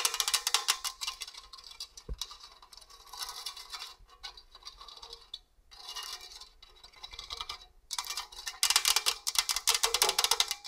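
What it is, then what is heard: Stainless steel box grater. Long orange nails scratch and tap across the perforated grating face of a hollow stainless steel box grater. The result is bright, scratchy, rapid patter in irregular bursts with brief pauses, and almost no low end.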